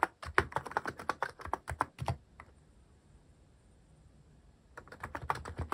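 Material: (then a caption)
Plastic. Fingertips type on a cream plastic-cased mechanical keyboard fitted with cat-themed plastic keycaps, producing a quick run of short clacky keystrokes with some low thock. The typing pauses for about two and a half seconds, leaving only faint hiss, then resumes in another brief burst of keystrokes.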